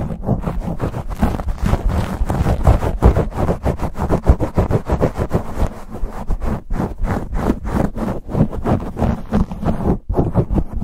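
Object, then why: Foam microphone windscreen. Fingertips and nails scratch and pinch a black foam windscreen on a silver condenser microphone. The result is a fast, aggressive stream of close, muffled rubbing and crackling with deep boomy thumps. Dense bursts follow one another in quick succession, with a brief pause near the tenth second.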